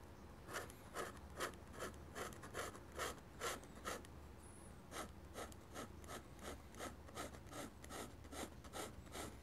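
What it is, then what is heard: Pen nib scratching on drawing paper. A dip pen nib held in the fingers scratches across a large, flat sheet of white drawing paper bearing an ink sketch and mounted on a board, in short, fast hatching strokes. About nineteen quick, dry, bright scratches come at a steady, brisk pace, with a brief pause near the middle, over a faint low background hum.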